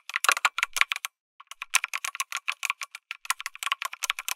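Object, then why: Mechanical keyboard with aluminum case and plastic keycaps. Fingertips type rapidly on a lit mechanical keyboard with an aluminum case and plastic keycaps, producing about 29 short, bright clacks with no low thump. The keystrokes come in a quick burst, pause briefly near the one-second mark, then resume in a steady, crisp rattle with almost no ring after each hit.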